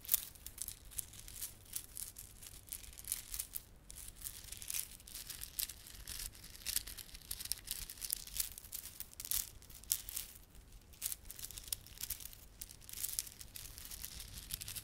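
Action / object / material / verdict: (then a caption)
scrape / plastic beaded garland with tinsel fringe / plastic / none. A small clump of plastic garland with solid, glossy dark blue and silver plastic beads and red spiky plastic fringe is held in both palms while fingertips rub and squeeze it. The result is a quiet, dense stream of bright clicking and crinkling, with the beads ticking against each other over a faint steady low hum.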